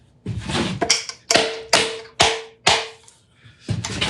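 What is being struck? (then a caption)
Aluminum case. Hands tap and drum on a finished custom aluminum archival carrying case, with aluminum handles and stainless steel hardware. Several bright, hollow hits ring briefly with a faint metallic tone around 450 Hz. A pause comes before a final flurry of taps.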